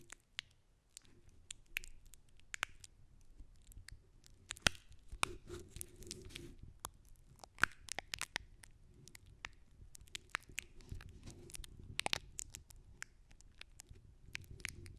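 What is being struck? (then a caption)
Paper masking tape over a metal mesh microphone grille. Long fingernails scratch and tap beige paper masking tape wrapped over the metal mesh grille of a Blue Yeti microphone. The result is a quiet, close stream of dry crinkly scratches and sharp bright taps, with a low hollow rumble underneath.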